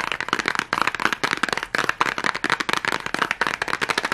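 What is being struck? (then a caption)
Cardboard matchbox. Long glittery nails and fingertips tap rapidly on the sides of a small red cardboard matchbox held close up. The result is a dense, fast run of dry, bright clicks and scratchy ticks with almost no low end and very short decay.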